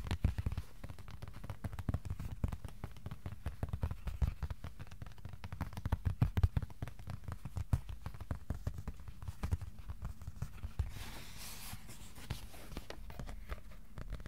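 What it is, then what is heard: Cardboard piece. A piece of cardboard is tapped with the fingertips, sometimes slowly and sometimes in fast flurries. The taps land as dense, soft, low, muffled thuds with very short decay, and a brief brighter hiss rises near the end.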